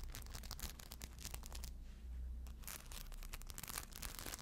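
Long blue acrylic nails scratch across a small, hollow, crescent-shaped fabric handbag covered in tiny rhinestones, with a strap and metal clasp, held in a hand. Dense, bright, crackly scratching comes in rapid bursts over a low hum, pauses briefly near the middle, then resumes.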